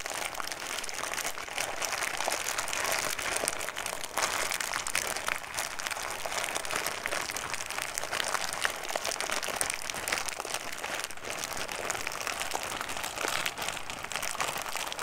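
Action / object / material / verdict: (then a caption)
scrape / small clear plastic bag with loose contents / plastic / none. A small clear plastic snack bag with loose contents is crumpled and squeezed with fingers in front of a microphone. It makes a steady, dense crinkling and crackling, bright and crisp, with the contents shifting inside. The noise runs continuously at an even level with no pauses.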